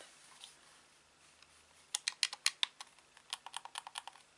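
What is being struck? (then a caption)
Plastic game controller. A hollow grey-black plastic Xbox controller is held in both hands while its buttons and sticks are clicked with thumbs and fingertips. After nearly two seconds of faint near-silence, a rapid, uneven run of sharp, bright plastic clicks begins. Each click is dry and stops instantly with no ring.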